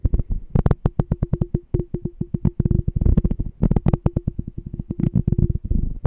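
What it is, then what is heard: Empty glass canister jar. A small, clear, apparently empty glass canister jar with a printed "Smart Canister" label is held in one hand and tapped rapidly on its glass body with the fingertips. Dozens of quick, soft taps come in uneven bursts, each a low, dull knock with a faint ringing tone that dies away almost at once.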